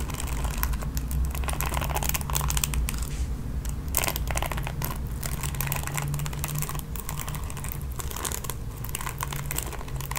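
Long nails strum and scratch across the ball-tipped nylon bristles of a red plastic paddle hairbrush. The result is a dense, irregular run of crisp, crackly flicks and scrapes with bright upper edges, all over a steady low hum.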